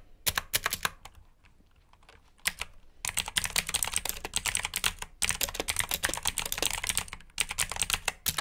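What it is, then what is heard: Plastic mechanical keyboard with clicky switches. Fingertips type on the keycaps of a black plastic mechanical keyboard with blue switches, producing a rapid stream of sharp, bright clicks with very little ring. After two short bursts and a quiet pause near the start, the typing becomes dense and continuous with brief breaks.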